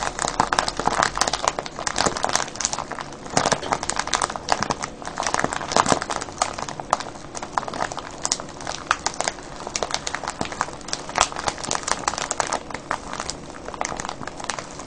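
A clear cellophane bag full of foil-wrapped candies is cupped, squeezed and crinkled in both hands. Dense, bright crinkling and crackling continues steadily through the clip, with quick sharp snaps rising above a constant rustle and almost no low end.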